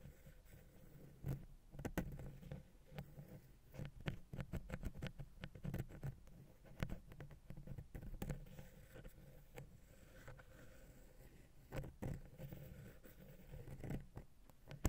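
A wooden ear pick taps and scratches rapidly on the side of the small, hollow, silver metal XY stereo capsule on a Zoom H6 recorder. The result is a steady run of dull, boomy low thumps with very short decay and soft scraping in between, with almost no high-end brightness.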